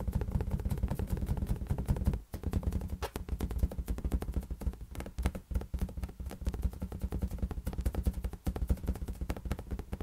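A large, hollow, air-filled green latex balloon is tapped rapidly with fingertips, giving a dense stream of deep, boomy thumps centered low with a quick decay. The tapping runs almost continuously for about ten seconds, with brief dips near the two- and eight-second marks.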